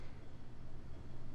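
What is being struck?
Nothing is struck.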